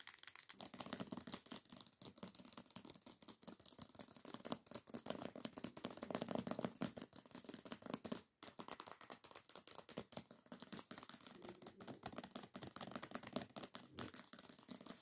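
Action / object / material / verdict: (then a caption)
tap / hardcover book with glossy paper dust jacket / paper / none. Long fingernail tips tap rapidly on the glossy paper dust jacket of a solid hardcover book, making a dense stream of short, dry clicks and crinkly ticks with almost no ring. The tapping runs steadily for about fifteen seconds, with only a brief pause just past the eight-second mark.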